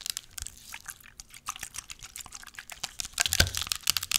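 Long nails tap and scratch a small clear plastic spray bottle with a white pump, partly full of pink liquid, and the bottle is shaken. The result is a steady run of quick, bright plastic clicks and crisp scratches with little low end. A louder burst with a low thump arrives near the end as the liquid moves inside.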